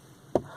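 A single tap on the plastic interior dashboard trim of a Ford F-150 gives a short, hollow knock centered in the low mids around 360 Hz that dies away almost at once. The trim is cheap plastic.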